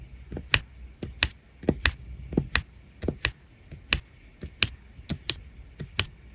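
A plastic drill pen taps resin rhinestone drills one after another into place on the blue area of a flat adhesive diamond painting canvas. About a dozen short, bright clicks land at an uneven pace, each dying away almost instantly with a faint low knock beneath.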